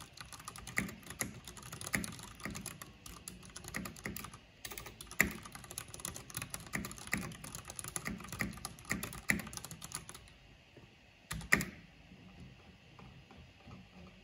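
Fingertips with long painted nails type on a black plastic backlit mechanical computer keyboard with hollow plastic keycaps. Rapid, dense clicky keystrokes with sharp, bright attacks and a hollow plastic clack run continuously, thinning out after about ten seconds to a few scattered taps and one louder strike.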